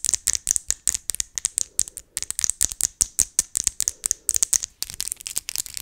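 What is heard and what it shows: Long acrylic fake nails, done up as Christmas nails, are tapped tip against tip rapidly right in front of the microphone. The result is about 33 bright, dry, sharp clicks in uneven bursts, almost all high-frequency energy with no low end and no ring after each tap.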